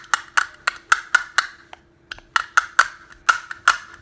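Fingers tap a small, hollow, teal-and-green plastic snap case with a printed design and click its halves together, making fourteen sharp, dry, woody-sounding clicks with a ringing midrange tone and bright edges. Each click dies away almost at once, with a short pause partway through and a faint steady low hum underneath.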